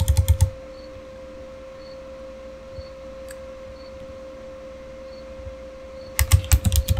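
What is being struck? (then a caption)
Plastic computer keyboard. Fingertips type on the keys of a Razer Fire keyboard, a solid, full-size, backlit plastic gaming keyboard. A quick burst of soft, thuddy key clicks opens the clip, then a long pause with only a steady low hum, before a second flurry of clacking keystrokes at the end.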